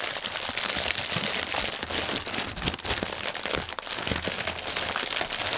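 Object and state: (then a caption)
Plastic air pillow packaging strip. Hands crinkle and press a clear, hollow, inflated plastic air-cushion packaging strip with fingertips and nails. The result is a dense, continuous stream of bright, crackling crinkles and sharp snaps with very little low end, sustained at a steady level throughout.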